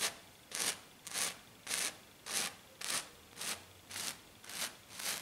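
Both hands scratch a flat silver glitter-coated sheet with long black nails. Nine bright, hissy rasping strokes come in a steady rhythm of roughly two per second, each fading quickly into near silence.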